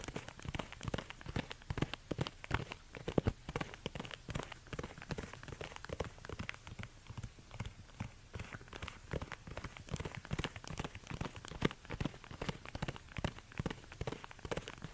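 Fingertips in orange rubber gloves quickly tap and scratch the suede upper of an empty, hollow black suede ankle bootie with a stiletto heel resting on a fur rug. A dense, steady stream of soft, dull, low taps sounds with no ring, mixed with a faint scratchy rustle throughout.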